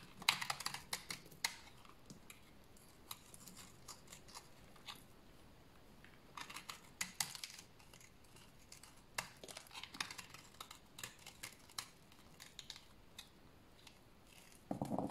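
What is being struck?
Bar of soap shaved with a blade.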